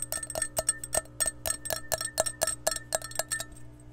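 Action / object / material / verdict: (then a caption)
tap / glass measuring cup / glass / none. Long painted nails scratch and tap an empty, clear glass measuring cup with red markings, held close to the microphone. Quick, irregular glassy clicks each carry a short ringing tone, a bright shimmer and a faint low hum beneath.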